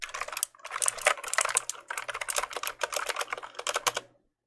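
Fingertips press and click the keys of a full-size black plastic mechanical keyboard held up close, making a rapid run of bright, sharp clicks with short pauses between bursts. Each click is dry and dies away almost instantly, and the sound is mostly high-pitched.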